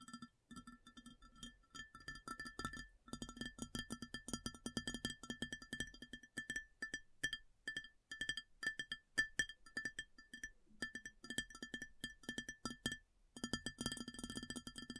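Long fingernails tap across an empty, large round white ceramic plate in quick, irregular bursts with brief pauses between. Each tap is a sharp click with a short, bright ring centered near 1.8 kHz, which decays quickly.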